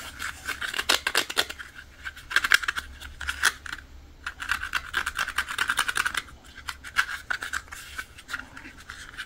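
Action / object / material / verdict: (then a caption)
scrape / hollow soft plastic toy animal figure / plastic / none. Fingertips and nails rub and scratch over the surface of a small pink-and-white figurine of a toy animal, made of hollow soft plastic and held in both hands, with other toys lying still nearby. Dense bursts of bright, dry scratching center on a squeaky tone near 1.4 kHz, easing into brief quiet pauses around the four- and six-second marks before resuming.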